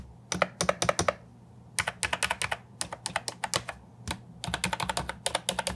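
A compact Ajazz 308I keyboard with plastic, round, typewriter-style keycaps is typed on with fingertips and nails. About 37 sharp, bright clacks come in quick bursts separated by short pauses. Each keystroke is dry and short, with a hollow plastic tone.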